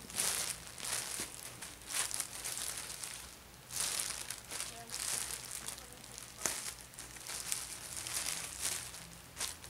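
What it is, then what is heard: Plastic shopping bag. A thin, empty, white printed plastic GameStop shopping bag is folded and flattened by fingertips with painted nails on a bedspread, with an orange Ulta bag lying untouched nearby. The sound is soft, bright, hissy crinkling and crackling that swells in repeated waves and fades between folds, with almost no low end.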